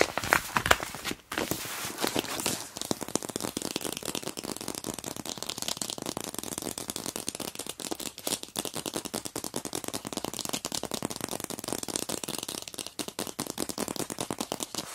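Long black nails tap and rub a flat, empty, semi-transparent plastic pencil pouch with a black palm-leaf print and a black zipper, lying on a plastic-covered surface. The result is a steady stream of dense, bright plastic crinkling and crackling, with rapid sharp clicks that stop almost instantly and little low end, lasting the full fifteen seconds.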